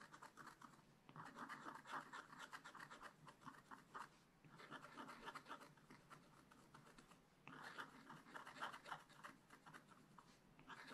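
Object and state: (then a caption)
Scratch-art paper being scratched. A wooden stylus scratches giraffe spots into a flat, black-coated scratch-art page in a spiral-bound book. The result is a quiet, rapid series of dry scratching strokes, bright and raspy with energy centred around 1–2 kHz. The strokes come in bursts with short pauses between them.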